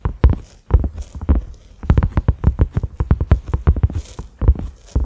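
Fingertips and short nails of both hands tap on a large, round, cream-colored silicone lid (a microwave or pot cover) with concentric ridges and a grey center knob, lying flat on a dark surface. A rapid, uneven stream of soft, dull, low thumps follows, each dying away almost instantly, with faint lighter clicks mixed in.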